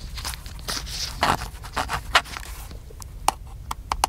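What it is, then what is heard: Plastic camcorder. Fingertips tap the top of a small, black, hollow plastic handheld camcorder held in one hand. The first half has a busy run of soft, hollow taps and scraping brushes. These give way to sparser, sharper clicks with a bright edge.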